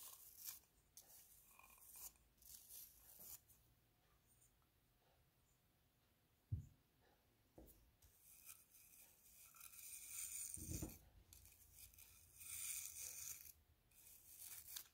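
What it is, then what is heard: Seashell brushed. A toothbrush brushes a hollow seashell held in the hand, moving over the ridged outer spiral and the smooth opening. Soft, bright bristly scratching comes in bursts, broken by quiet pauses and a couple of short, low hollow thumps.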